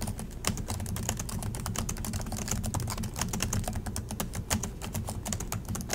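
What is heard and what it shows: Both hands type continuously with their fingertips on the plastic chiclet keys of an Acer laptop keyboard. The result is a rapid, steady stream of short, bright clicks and taps over a constant low rumble, with each keystroke dying away almost instantly.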